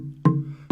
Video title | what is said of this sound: Unusual Instruments - Episode 7 "Windy Percussions" | it doesn't ring quite as good as it should